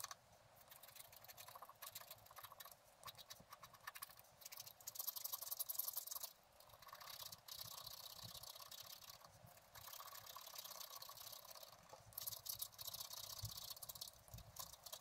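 A wooden stylus scratches near the bottom edge of a flat black-coated scratch art card lying on a table. The result is quiet, bright, dry scratching in dense short strokes that rise and fall, loudest around five to six seconds and again near twelve to thirteen seconds, with almost no low end.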